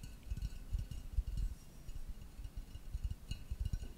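A tall, hollow black ceramic vase with blue brush strokes is held upright and tapped with fingertips and nails. The taps are soft, dull, low thuds in a quick, uneven series, each dying away almost at once, with faint bright clicks above.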